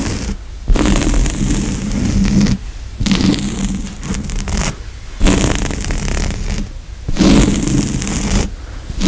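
Fingertips and medium-long nails scratch back and forth across the coarse woven grey upholstery of a large, soft but solid padded couch seat, with a cabled microphone lying on the cushion close to the hand. The result is a dense, low-heavy fabric rasp in sustained bursts separated by brief quiet pauses.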